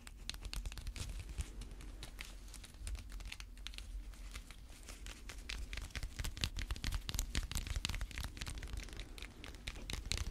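A small coiled slap bracelet, a metal spring band with a cream plastic or fabric cover in a hollow ring shape, is held in gloved hands and tapped and scratched with long red fake nails. Rapid, dense bright clicks and scratchy crinkling run over a low rumble. The tapping grows louder in the second half and continues to the end.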